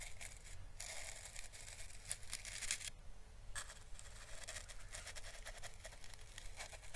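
A hollow, thin, papery orange dried Chinese lantern husk is held in the fingers and slowly brushed with paintbrush bristles. The result is soft, dry crackling and scratchy rustling with bright, hissy bursts over a low, steady rumble.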